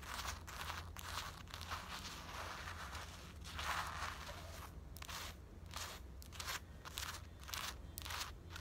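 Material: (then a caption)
Cotton fleece. Long black acrylic nails scratch and rub the front of a grey printed cotton-blend fleece sweatshirt worn on the body. The result is a steady, dry, crackly scratching with bright rasping bursts and soft rustling between strokes, over a low hum.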